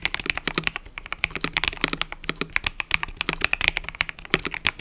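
Fingertips type continuously on a mechanical keyboard with cream and purple plastic keycaps. A rapid, steady stream of short, bright clacks centres around 2.5 kHz, each dying away almost instantly with little low end.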